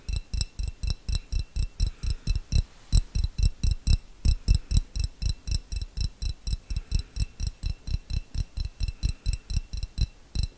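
A small, clear, hollow glass jar that appears empty is held in one hand close to the microphone and tapped with the fingernails of the other hand, about 43 times over roughly 11 seconds. Each tap is a short, dull low thump topped by a bright, glassy tick with almost no ring, in a steady but loosely timed rhythm of about two taps per second.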